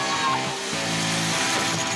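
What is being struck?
Nothing is struck.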